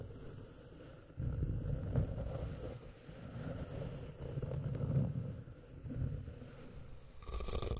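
Fingernails scratch the surface of a flat, solid, round cork disc resting on a Tascam recorder. After a quiet start, the scratching comes in as deep, muffled, rumbling strokes that swell and fade unevenly. A brighter, rougher scrape surfaces near the end.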